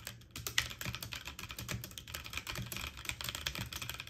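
Fast typing with fingertips and short painted nails on a full-size backlit mechanical keyboard with plastic keycaps on an aluminum frame. Repeated key presses make a dense, rapid run of bright, sharp clicks with a low thock under them, and each one dies away almost at once.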